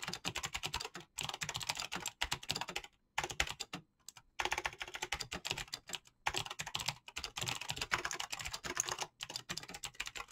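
A full-size mechanical keyboard with clicky green switches and PBT plastic keycaps is typed on rapidly, fingertips tapping the keys fast. Bright, sharp clicks run in dense bursts separated by brief pauses, each keystroke dying away almost instantly with little low end.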